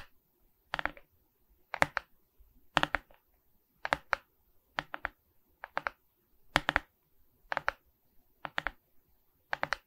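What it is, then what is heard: Resin-bead diamond painting on a wooden board. Long red nails scratch and tap the resin beads of a framed diamond painting on a wooden canvas board held upright. The result is ten evenly spaced bursts of crisp, bright clicking, each a quick cluster of short taps with almost no ring, separated by quiet gaps.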